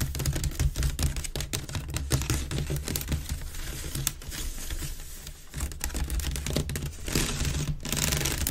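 Fingers and nails rapidly scratch the rim and outer weave of a hollow, empty grey wicker waste bin held with its open mouth facing outward. Dense, irregular bursts of dry, bright scratching and ticking crackle over a steady low, hollow rumble, easing briefly around the middle before picking up again.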